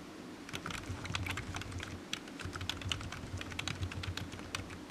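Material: Plastic.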